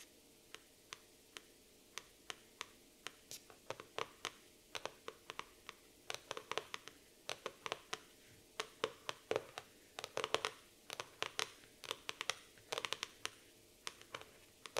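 Fingernail tips scratch and trace over the printed laminated cardboard cover of a black floral hardcover notebook. Many quick, crisp, bright ticks and scrapes come in irregular bursts against near silence. Each one dies away almost instantly.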